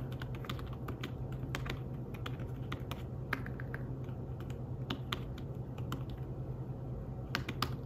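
Fingertips type steadily on the keys of a thin, flat, grey fabric-covered folio keyboard for a tablet. They make soft, short, dry taps at a quiet level over a constant low hum, with a few slightly sharper clicks standing out.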